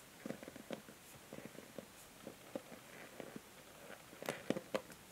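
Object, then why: Plastic paddle hair brush. Long nails scratch and tap the plastic bristle pins of a pink and white plastic paddle hair brush held in the hand. Quiet, dry clicks and soft scratching are heard, with no ring. A few sharper, brighter taps come near the end.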